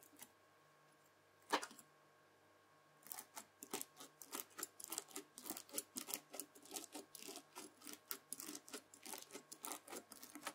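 White plastic cutlery, a knife and then a fork, scrapes and presses into red bead-filled floam slime. After a quiet start and one sharp crunch, a steady run of short, bright, crackling crunches follows as the beads pop and grind, over a faint steady hum.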